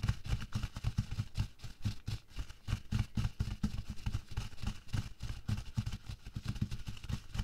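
Bare fingertips and long nails press, rub and scrunch thin, empty latex gloves lying flat on a white table. The result is a rapid, continuous run of short, soft thumps and squeaky rubs, mostly low and muffled with faint bright crinkle on top.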